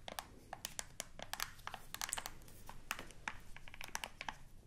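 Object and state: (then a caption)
Plastic remote control buttons clicked. Long nails press and click the buttons of a black plastic TV remote control. A rapid, uneven series of short, dry, bright clicks and tapping sounds cuts through a quiet, low background hiss.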